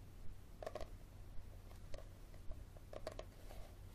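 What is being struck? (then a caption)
Paperback book with card cover. Fingernails tap and scratch the card cover of a yellow paperback book, which is first held upright and then tilted. Short, dry papery taps and brief scratchy brushes come in loose clusters with almost no ring, over a steady low hum.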